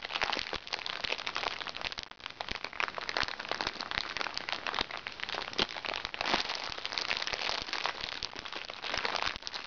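Fingertips and nails tap, scratch and squeeze a small, crinkly recycled plastic makeup bag lying flat. The result is a steady, dense run of sharp crackles and crinkles, bright and papery with almost no low end. Short snaps stand out now and then above the texture.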